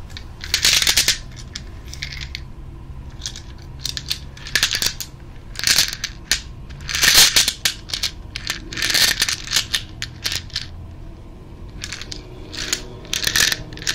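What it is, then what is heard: Glass jar with coins. A medium-sized clear glass jar with a lid, partly filled with loose coins, is held in both hands and shaken so the coins rattle against the glass. Bursts of bright, jangling metallic clinks come in uneven shakes, with quiet gaps between them over a faint low background hum.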